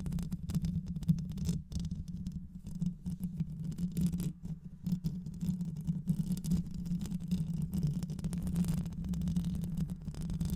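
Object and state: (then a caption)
Metal mesh microphone grille. Long white acrylic nails scratch and tap the rounded metal mesh grille of a black microphone with a hollow head. The result is a dense, continuous scratchy rumble, mostly low in pitch with a steady hum around 180 Hz, that swells and dips briefly throughout.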